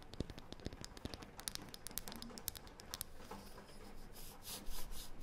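Long painted fingernails scratch and tap across a thin, round, light, solid wooden disc. The result is a quiet run of rapid, dry clicks and scratchy ticks over a low rumble, turning into brighter, hissy strokes near the end.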